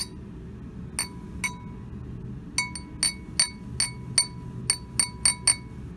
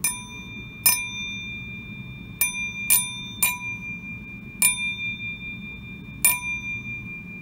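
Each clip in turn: First: non-flint (non-lead) glass with a dull ping. Second: flint glass, bell-like ring.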